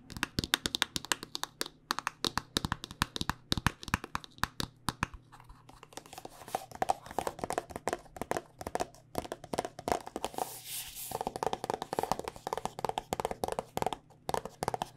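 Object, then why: Plastic squeeze tube. Long nails tap quickly and steadily on a hand-sized, hollow white plastic body butter squeeze tube with a red cap. The sharp, dry clicks have a hollow plastic tone and stop instantly, with a faint steady low hum underneath. Near the eleventh second comes a brief bright scratchy hiss.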